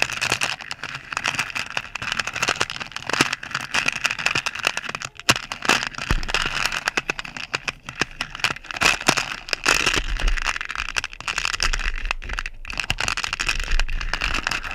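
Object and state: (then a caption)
Plastic pearl beads in a plastic box. A wooden spoon, held in fingers with long purple nails, stirs and scoops many small pink plastic pearl beads in a clear plastic box. The beads clatter against each other and the box in a continuous, dense, bright rattle of tiny clicks, with occasional louder swells as the spoon scoops.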